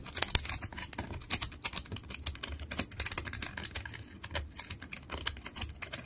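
Fingernails scratch a long, solid wooden stick with peeling bark as it rests on a towel, and bark flakes fall away. A rapid run of dry, bright clicks and crackly scratches comes in uneven bursts over a faint low rumble, each tick dying away almost instantly.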